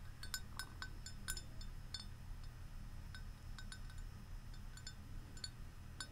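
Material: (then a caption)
Ceramic. Long nails tap the outer wall of a large, hollow, white glazed ceramic Central Perk mug held up close, making a quick series of light, bright clinks. Each tap rings briefly around 1.5 kHz over a steady low rumble.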